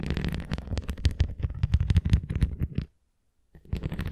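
Long nails tap and scratch the rim of a red plastic flying disc toy held edge-on, making a quick run of dull, low, close-up clicks and scrapes. The tapping stops for about half a second of silence, then starts again.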